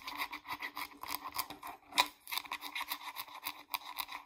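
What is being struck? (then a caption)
Plastic shampoo bottle. Long acrylic nails rub and scratch the label side and flip cap of a hollow, medium-size green plastic Pert shampoo bottle. The result is a quick run of dry, bright scratching strokes with short rests between them, and one sharper click stands out near the middle.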